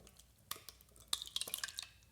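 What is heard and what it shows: Finished milk kefir in a glass jar, thickened after 24 hours of fermenting, is sloshed before the kefir grains are strained out. Several short, wet, bright glugs and squelches come through over a quiet background. The thick consistency sounds good.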